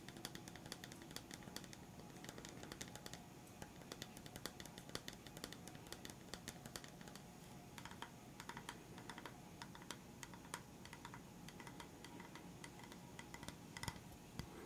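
Fingertips and short nails tap rapidly on the surface of a solid, flat, round bamboo wooden stand about the size of a coaster, held in one hand. The result is a steady stream of quiet, dry, clicky taps with short, bright attacks over a low, soft body, much like fast typing on a keyboard.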